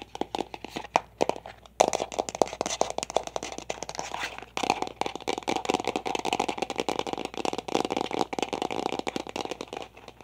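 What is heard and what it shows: A large, hollow, light-blue plastic toy egg is held in both hands and rapidly tapped and rattled with long nails and fingertips. Dense, fast, dry clicks and scratchy rattles run throughout with a faint ringing tone near 650 Hz, pausing briefly just before 2 seconds and again around 4.5 seconds.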